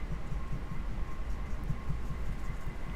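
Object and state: Nothing is struck.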